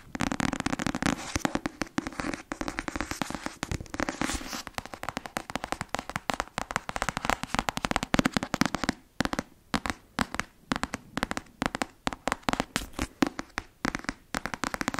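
Long fingernails tap and scratch the front cover of a closed black paperback novel held in one hand. The sound is a dense stream of short, dry clicks and scratchy rustles, busier and more continuous at first, then thinning into quicker, more separated taps with brief quiet gaps between them.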